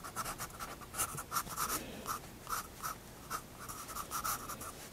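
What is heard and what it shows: A pencil draws short strokes on a paper sketchbook page, making a dry, writing-like scratch. About a dozen brief, irregularly spaced strokes each give a bright hiss with a scratchy tone around 1.3 kHz, each fading almost instantly.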